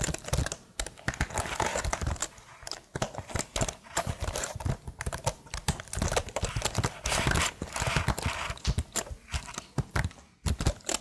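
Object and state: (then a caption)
Plastic laptop keyboard. Long nails tap the keys of a tilted plastic laptop keyboard in a steady, clip-clop-like rhythm. The rapid, dense taps sound like dry clicks with a low thump underneath and a bright edge. Each click dies away almost instantly.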